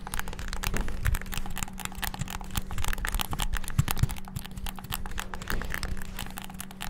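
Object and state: Plastic game controller.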